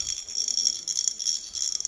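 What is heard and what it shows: An empty vessel with a small loose object inside is shaken repeatedly, and the object rattles against the walls in quick, bright clattering bursts. The sound is entirely high-pitched with no low end, and the object stays trapped inside because the vessel is empty.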